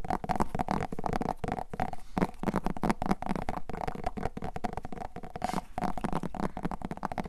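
A small whole orange pumpkin, a hollow gourd with a firm rind, is held in both hands and tapped and scratched across its surface with long painted nails. Quick, dry taps and scratching strokes follow one another in a busy, continuous patter, mostly low and hollow-sounding with a steady tonal ring near 700 Hz.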